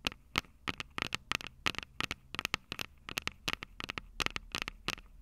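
Long purple nails tap and scratch the metal microphone capsules of an upright Tascam DR-05 recorder. The result is a rapid run of sharp, bright clicks with a clear ringing tone near 2–3 kHz, each dying away almost instantly over a faint low hum.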